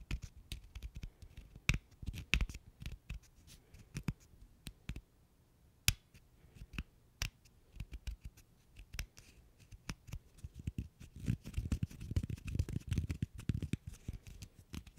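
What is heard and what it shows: A single small solid cork stopper is pinched between the fingers of both hands while fingertips and nails scratch and rub it. It makes quiet, dry, irregular clicks and scratchy bursts with a dull low body and faint bright edges. The rubbing grows busier and denser toward the end.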